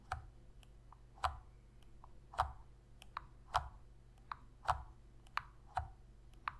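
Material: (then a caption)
Plastic. Long red fingernails tap and press the face buttons of a hollow black plastic Sony PS3 controller held in both hands. The result is twelve short, dry plastic clicks at an unsteady pace. Heavier clicks with a soft low thump around 750 Hz alternate with lighter, brighter ticks, and each dies away almost at once.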